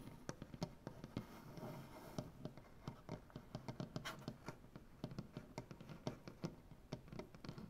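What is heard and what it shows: Both hands tap and scratch a solid light-wood butcher-block tabletop with dark-painted nails. A quick, irregular run of short, dull knocks and clicks, mostly low and woody, dies away almost instantly, with soft scratching between them.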